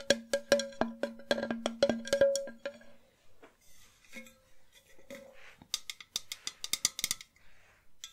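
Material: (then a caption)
Enamel metal. A hollow, empty white enamel metal jug vase is tapped on its base and body with long nails. A rapid, irregular run of sharp taps rings with a hollow tone around 230 and 560 Hz for the first three seconds. Quieter, brighter clicks and scratchy taps follow, with only brief ringing.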